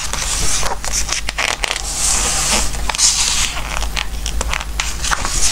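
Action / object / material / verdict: scrape / glossy paper book pages / paper / none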